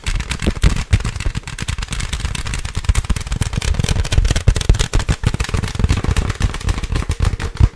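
Long nails tap fast on a medium-sized, clear inflated plastic packaging air pillow filled with air. A rapid, continuous stream of short, hollow thumps, mostly low and deep with little brightness, each dying away almost at once.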